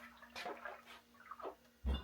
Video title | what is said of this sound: Buffalo Trace White Dog Rye Mash bill, aged 1 year. | I do hear it sloshing around in there